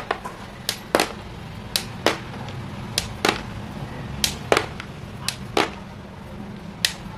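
Chalk-dusted hands squeeze and crush small white chalk pieces between the palms over a thinned-out layer of them in a green plastic basin, crumbling them. About fifteen sharp, dry, bright crunches and snaps sound in irregular bursts, each dying away almost at once over a faint low rumble.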